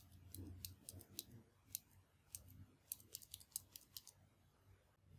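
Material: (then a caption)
Plastic. A translucent dark plastic mechanical pencil with a black rubber grip and a metal tip, hollow and held between the fingers over a wooden desk, has its top button pressed repeatedly by a thumb or fingertip to click the lead advance. About 16 sharp, bright, very short clicks come at uneven intervals over a soft, low background rumble.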